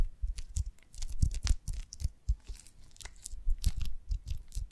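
Long nails scratch and tap the cells of an oval beeswax honeycomb on a branch, held in both hands, its glossy waxy surface soaked with honey. Short, sticky, crackling taps and scrapes come in quick irregular bursts, with soft low thumps under bright crisp clicks.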